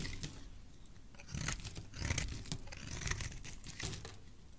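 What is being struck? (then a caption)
Bar of soap cut with a blade. A utility knife blade carves long curls from a solid oval green soap bar held in the hand. Soft, crisp scraping and crunchy cutting strokes come in short, overlapping bursts with bright edges over a low, muffled body, growing a little louder partway through.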